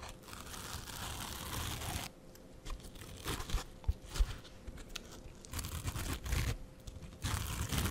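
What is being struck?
Foam scrub sponge with scouring layer.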